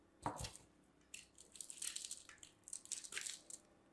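A mint-green and white striped solid soap bar is rubbed against a small handheld stainless steel box grater by a hand with long dark nails, producing soap shavings. A sharp, crunchy scrape with a low thump opens the clip, followed by quieter bursts of bright, crisp rasping as the bar is grated and scraped back and forth.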